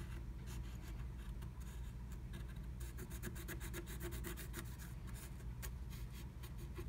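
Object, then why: Black-coated scratch art card scratched with a wooden stylus. A wooden stylus scratches a black-coated scratch art card beneath a blue plastic stencil, filling in a lightning bolt shape. Quick, dry scratching and rubbing strokes run continuously at a steady, quiet level, with bright, brief streaks over a low, steady rumble.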